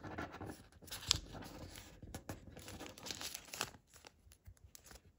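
A thin sheet of origami paper is folded into a paper crane on a wooden table, creased with fingertips, then lifted and folded in hand. The result is bright, crisp crinkling and tearing-like rustles with a few sharper crackles, fading to quieter, sparser rustles toward the end.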